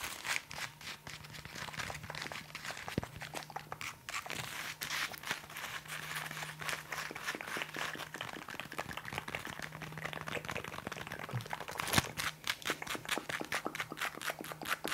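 A cylinder-shaped roll of green plastic trash bags is tapped and scratched with long nails. Fast, dense crinkly clicks and scrapes run throughout, with a few sharper peaks. A faint steady low hum sits underneath.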